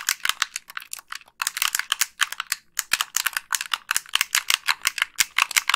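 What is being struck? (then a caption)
Plastic game controller. Long pink nails click the face buttons and tap the shell of a hollow, white plastic Xbox 360 gamepad. About thirty sharp, bright plastic clicks and taps come in quick, uneven bursts, with brief pauses near 1.3 and 2.7 seconds. Each click is dry and dies almost instantly, with no low-end weight.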